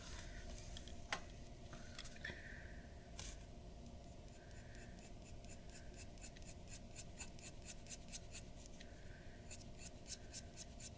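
A glass dip pen's metal nib scratches dense hatching strokes along the hair edge at the top of a flat white drawing sheet resting on a wooden desk. Quick, bright, scratchy strokes repeat in rapid bursts over a steady low hum, staying quiet throughout.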